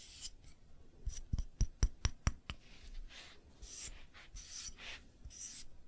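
A small, solid, light-wood hexagonal block is held in one hand and scratched and rubbed across its face with long nails and fingertips. A run of seven sharp, dry clicks comes in quick succession near the start, followed by soft, breathy scratching swishes that rise and fade.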